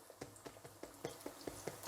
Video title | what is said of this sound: Gluten free baguette recipe ¦ so easy and DELICIOUS! | when you tap them you have this kind of nice Hollow sound they're crispy on the outside and nice and moist on the inside